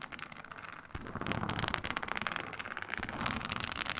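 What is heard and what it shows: Long nails scratch a flat, iridescent snake-scale synthetic leather mat, a snakeskin-textured faux leather sheet. A soft, dense crackle turns louder just before the one-second mark with a low thump. Rapid, bright, gritty scratching then continues to the end.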